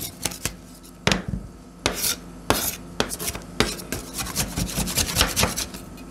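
Two metal spatulas held in black-gloved hands chop a small, solid heap of frozen purple blueberry ice cream on a stainless steel cold plate, then gather it up. Sharp, bright metallic clacks and taps ring briefly against the plate, mixed with gritty scraping as the blades drag across the steel.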